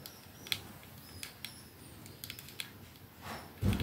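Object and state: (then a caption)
Metal and glass perfume bottle. Fingernails tap rapidly on the back of a 212 perfume bottle, a silver metal sleeve with glass domed ends, held upright in one hand. The sound is a scattered series of short, bright, clicky ticks over a faint hiss, each dying away almost at once. It ends in a louder, low rumbling burst.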